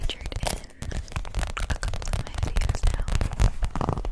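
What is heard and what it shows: An empty clear PVC zip pouch is held beside the microphone and tapped and scratched with long nails, making a rapid run of crinkly, crackling taps. The sound is close and full, weighted toward a low thump with short bright scratches on top, each tap dying away almost at once.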